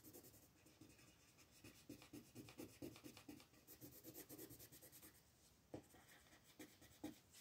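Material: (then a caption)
Paper. A dark colored pencil scratches across a thin paper coloring page lying flat on a table, shading a house while fingers with red nails hold the sheet steady. Quiet, irregular rubbing and scratching strokes repeat at about two per second. Each stroke has a dry, papery texture with bright high hiss.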